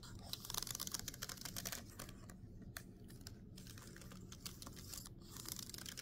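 Several fingertips tap and drum on the plastic keys of a backlit laptop keyboard in a typing motion. Quiet, irregular bright clicks patter in quick, uneven bursts over a faint low hum, busier at the start and end with a sparser stretch in the middle.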